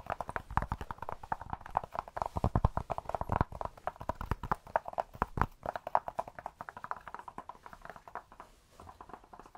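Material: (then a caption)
Cork. A cork object is tapped rapidly and continuously up close to a binaural microphone, making soft, hollow clip-clop knocks with a mid-range tone and very short ring. The taps run steadily for most of the clip, then grow quieter and sparser toward the end.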